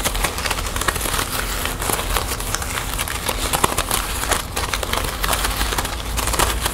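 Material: Plastic.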